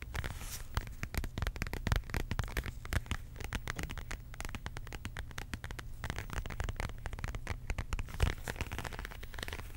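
Long pink acrylic nails tap and scratch across a flat, closed beige embossed faux leather zip wallet. Quick, dry clicks and scratchy crackles come in a steady, dense stream over a low, soft rumble.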